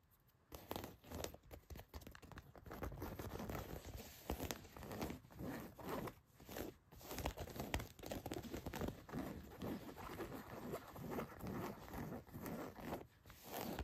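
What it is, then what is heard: Denim jeans being scratched. Long white nails scratch the fabric of a pair of blue cotton denim jeans lying flat, near the back pocket. After a brief quiet start, a steady run of dense, rough scratching and rasping strokes follows, with a soft crinkly texture. The sound is mostly in the low and middle range, with little bright top.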